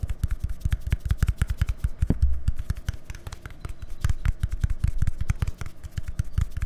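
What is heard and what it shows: Fingertips and nails rapidly tap and scratch a small, hollow white plastic deodorant stick with a green cap, held up beside a microphone. The result is a fast, uneven stream of short, dry clicks and scrapes with deep, thumpy low-end weight and almost no ring after each hit.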